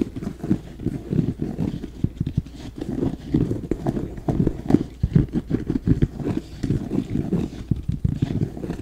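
A red, black and white high-top basketball sneaker, apparently with a leather upper and rubber sole, is held hollow and empty beside an ear-shaped binaural mic and tapped and scratched with fingertips and nails. Rapid, dull, hollow knocks with very short decay fall in quick irregular clusters, mixed with soft scratching. The sound sits mostly in the low-mids with almost nothing bright.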